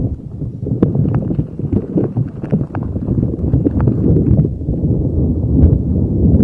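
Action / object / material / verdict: scrape / soft rubber spiky ball rubbed over a microphone / rubber / none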